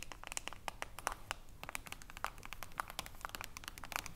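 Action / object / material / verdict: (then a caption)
tap / aluminium screw lid on a small glass jar / aluminium / none. Long nails tap rapidly on the aluminium screw lid of a small glass jar of cream, making a quick, irregular run of short, sharp metallic clicks. Each tap is bright and dry, with almost no ring, over a faint low background rumble.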